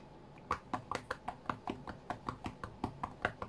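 Fingertips tap the glass touchscreen of an iPad tablet lying flat on a cutting mat. Sixteen short, dry taps land in a quick, uneven rhythm, each a soft click centered around 700 Hz with a brief bright edge that dies away almost instantly over a faint steady background hiss.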